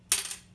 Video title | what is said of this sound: What's the best material for nuts or saddles? | it's definitely got a ping to it